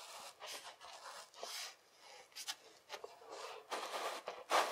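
A flat rectangular slab of kinetic sand is patted and pressed by palm and fingers, and its edges are pushed in by both hands. The result is a series of soft, airy, crumbly pats and squishes with a bright, grainy hiss and almost no low end. The touches are quick, with short gaps between them, and the last is the loudest.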